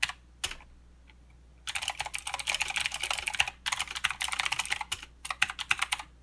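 Two both-handed fingertip taps, then rapid typing on a mechanical keyboard with plastic keycaps and clicky blue switches. Bright, sharp clicks and clacks come in dense bursts with brief pauses, each keystroke dying out almost instantly.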